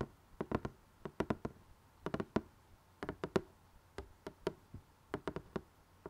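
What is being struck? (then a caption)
Cardboard jigsaw puzzle box. Fingernails tap and scratch the glossy printed lid of a closed rectangular cardboard jigsaw box holding puzzle pieces. The result is about twenty-two short, dry, hollow knocks with a low-mid body around 380 Hz, falling in quick uneven clusters. Each tap dies away almost instantly over a faint hiss.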